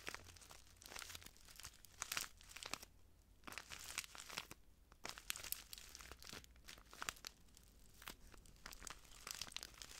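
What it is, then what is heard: Plastic bag of granules. A small clear plastic bag full of translucent granules is held in the hand and squeezed and crinkled by the fingertips. Dense, bright crackling and rustling comes in uneven bursts, with a few short quiet gaps. The crinkles are sharp and dry, and they do not ring on.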